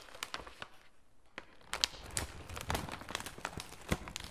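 A full red plastic and foil laminate snack bag is turned and squeezed by gloved fingertips, producing crinkling and rubbing. Sharp, bright crackles rise over a softer rustle, with a brief quieter lull near the one-second mark. Each crackle dies away almost instantly.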